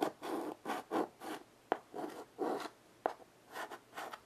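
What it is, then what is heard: Chalk scratching on a wood-framed chalkboard. A chalk stick draws short hatching strokes across a small wood-framed blackboard resting on carpet, producing a series of dry, raspy scratching bursts with a mid-range rub. Two sharp ticks cut through where the chalk strikes the board, and brief quiet gaps separate the strokes.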